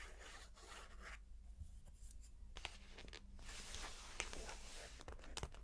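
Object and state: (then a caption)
Paper picture book page. A wooden stick traces across the illustrated paper page of a large open picture book lying on carpet, then fingertips with long painted nails rub flat across the paper. The result is a quiet, dry scratching and rubbing hiss with a few brighter sharp ticks, over a low steady hum underneath.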